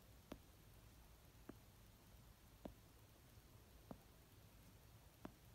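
Fingernails tap the cover of an orange paperback novel near the spine edge while it rests on a blanket. Five soft, brief taps are spaced evenly and slowly apart, each a dull thud with a little brightness, over a quiet, low hiss.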